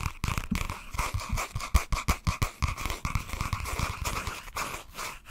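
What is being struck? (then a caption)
Spiral-bound notebook with cardboard cover. A flat cream and green cardboard cover of a spiral-bound notebook is held in both hands and tapped and scratched with fingernails. Quick, irregular dull taps with a low thud mix with a continuous scratchy rasp, close and dry with almost no ring.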